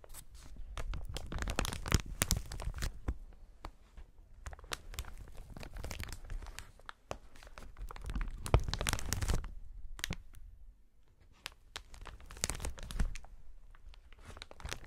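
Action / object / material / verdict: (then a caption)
scrape / inflated plastic air-pillow packaging / plastic / none. Hands in fingerless gloves knead and rub a clear, hollow strip of inflated plastic air-pillow packaging. Dense bursts of crinkling and crackling come in uneven waves, with sharp high snaps over a soft, low rustle. Brief quieter pauses fall between the louder bouts of handling.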